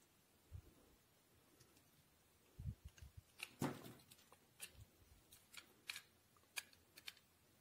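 A solid white bar of soap, held in the palm, is shaved with a steel utility knife blade into curled strips. About sixteen quiet, irregularly spaced strokes mix soft low thumps with crisp, bright scraping shaves that cut off quickly.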